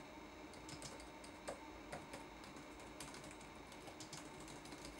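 Fingertips tap the plastic keycaps of a red-backlit laptop keyboard in an irregular run of light typing. Each press makes a soft, bright click over a steady low hiss, with a few slightly louder taps standing out.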